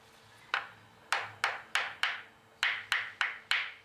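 A dried bonito (katsuobushi) block is knocked ten times in an uneven rhythm, each tap a short, bright knock centered near 1.5 kHz that dies away within about a tenth of a second. The under-dried block is judged not ready by its sound and needs at least another month of drying.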